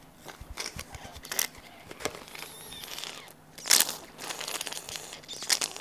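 A small hollow pink plastic bottle with a nozzle cap is held in one hand, shaken and tapped with the fingertips. The result is a quiet, irregular run of bright, crinkly clicks and crackling taps, mostly high-pitched with very little low end, each dying away almost at once.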